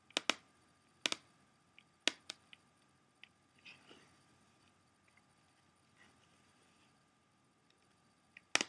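Fingernails tap on the back surface, near the edge, of a closed, hollow, clear plastic CD jewel case. The result is sharp, bright, clicky taps with almost no low end that die away almost instantly, separated by quiet pauses and a few softer ticks and light scuffs, with a final loud tap at the end.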